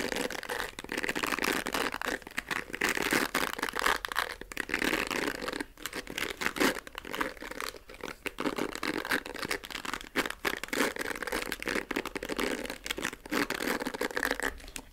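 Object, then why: Plastic hair brush with bristles. Fingertips scratch across the dark bristles of a pink plastic hair brush, making a steady, dense crackle of fine scratchy ticks for fifteen seconds. The sound is dry and crinkly, sitting mostly in the mids and highs with almost no low end. The ticks stop quickly with little ring.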